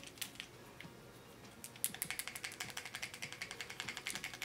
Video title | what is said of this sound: NEW SISLEY-PARIS PHYTO TEINT ULTRA ECLAT FOUNDATION REVIEW | has a little ball inside so you can hear it rattling as you give it a shake